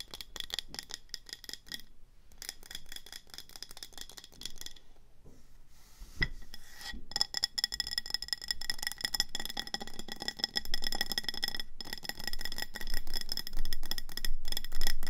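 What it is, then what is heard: Ceramic planter pot. Long nails tap quickly on the body and orange glazed rim of a speckled grey ceramic planter full of pebbles and a plant. Rapid, clicky taps carry a faint bright ceramic ring. There are brief pauses near the start, and the tapping grows steadily louder toward the end.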